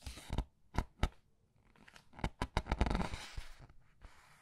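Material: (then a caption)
Paper. Red-nailed fingertips rub across the glossy illustrated paper pages of a large open paperback art book and turn the pages. Crisp, papery swishes and crackles come in short bursts with soft low thumps, then fade into a faint rustle.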